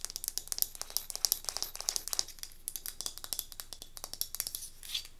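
A small, solid light-wood cube tealight holder is held in both hands and tapped and scratched with long nails on its grooved wooden faces. A fast, steady stream of dry, bright clicks mixes with crisp scratching that has almost no low end and no ringing.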